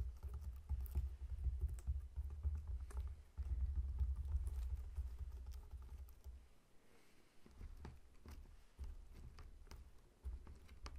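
Fingertips of both hands tap rapidly on the scaly rind of a whole, solid pineapple lying on a table. The result is a quick, uneven patter of soft, dull taps with short crisp clicks over a steady low hum. The tapping eases and grows quieter partway through before picking up again.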